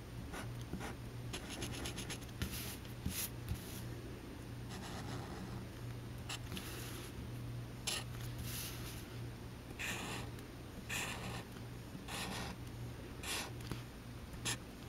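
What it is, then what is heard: Paper card drawn on with marker. A black Sharpie tip draws short lines near the corner of a small, thin white paper card resting on a green cutting mat. Bursts of bright, raspy squeaking and scratching come from the marker rubbing on the paper, over a steady low hum.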